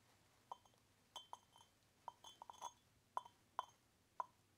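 Fingertips tap and jiggle the lid of a small, hollow, unglazed orange terracotta pot with handles and holes, held in one hand, so the clay lid clinks against the rim. About a dozen short, dry clinks come at irregular intervals, centered near 1 kHz with faint brighter overtones. Each one dies away almost at once in a quiet background.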